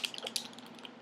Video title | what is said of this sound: My Foundation Collection, Rated!! | it has little beads in it that shake it up because it does separate